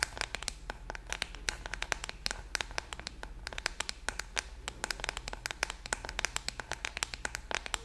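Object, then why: Plastic paddle hairbrush tapped and scratched with fingernails. A hand-sized pink-red plastic paddle hairbrush with a hollow-backed body and metal-tipped bristles, held close, is tapped and scratched on its back with long painted nails. Rapid, sharp, bright clicks with very short ring ride over a low steady hum and faint scratchy texture. The tapping continues in irregular bursts throughout.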